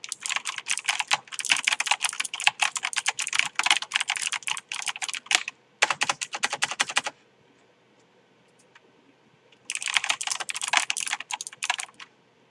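A full-size Tree Frog MK backlit mechanical gaming keyboard with plastic keycaps, a purple LED strip and a hollow plastic case sits on a desk while both hands type fast with the fingertips, pressing and tapping many keys. Dense bursts of bright, crisp clicks and clacks run for about seven seconds, stop for a quiet gap of roughly two and a half seconds, then return for a final two seconds before stopping.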